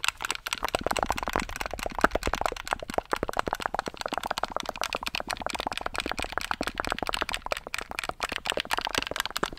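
Fingertips rapidly tap and click the buttons of a handheld black plastic gamepad held close to the mic. The result is a dense, continuous stream of short, dry plastic clicks and rattles centered in the mid range, with little low end and almost no ring after each click.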